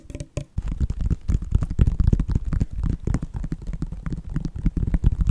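Fingertips and nails tap and scratch a white Nike sneaker, a hollow shoe with a synthetic leather upper and a purple foam and rubber sole. Dense, irregular soft taps and scrapes run continuously after a brief quiet start, with a dull, low, thumping body and almost no bright content.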